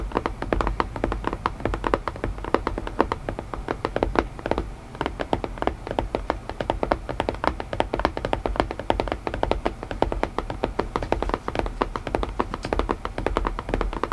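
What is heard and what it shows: Fingertips tap on a wooden puzzle box in a rapid, steady run of short, dry knocks that die away almost at once. The taps carry a woody mid-range tone with a soft low body, continuing without pause throughout.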